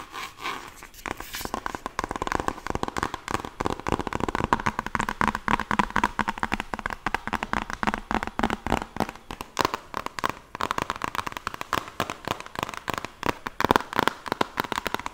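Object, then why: Laminated cardboard board book. Long nails tap rapidly on the cover of a closed children's "First Words" board book with thick laminated cardboard pages, held upright. The result is a steady stream of quick, dry, clicky taps centered around 1 kHz, each dying away almost instantly.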